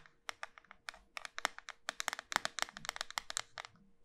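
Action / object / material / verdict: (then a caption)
tap / small round bar of soap / soap / none. A small, solid, round pink soap bar with a pearl-bead rim is held in the hand and tapped rapidly on its flat surface with long white nails. About 23 quick, dry, crisp clicks come in an uneven rhythm, bright and sharp with almost no low end. Each tap stops instantly, with no ring.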